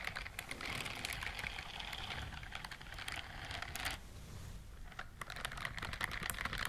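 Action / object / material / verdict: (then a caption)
scrape / silicone scrubbing glove with bristles / silicone / none. Long nails scratch and strum the bristles on the palm and fingers of a white silicone dishwashing glove worn on one hand. The result is a dense run of quick, dry clicks and bright crackling scratches over a low rumble, with a brief lull near the middle before the rapid scratching picks up again.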